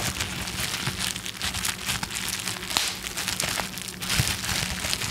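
A small sheet of clear plastic bubble wrap is held in both hands close in front of the microphone while fingertips squeeze, crinkle and rub it. A dense, bright crinkling runs throughout, with scattered sharper crackles and a faint low hum underneath.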